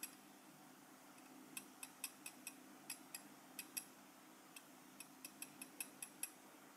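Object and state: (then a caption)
Enamel metal lapel pin. A small, solid, gold-coloured metal lapel pin with a black enamel face is held in the fingers and tapped with the tip of a steel cheese knife. Eighteen quiet, bright, high-pitched ticks with very short ring come in uneven bursts over a low, steady hum.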